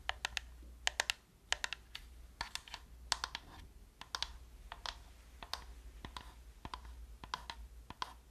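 Long nails and fingertips tap and click the buttons and shell of a hand-sized, hollow black plastic PlayStation-style gamepad held close to the microphone. The result is an irregular run of short, sharp, bright clicks with almost no ring, over a faint, steady low hum.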